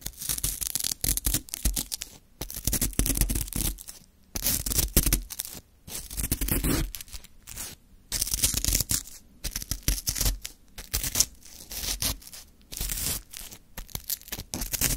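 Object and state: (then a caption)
Lemon shaved ice scraped with wooden stick. A full small plastic cup of Sacre lemon frozen shaved ice is held in one hand while a flat wooden stick scrapes and digs into the icy crystals. Irregular bursts of bright, crunchy, tearing-like scraping alternate with short silent gaps, with a low thud underneath each dig.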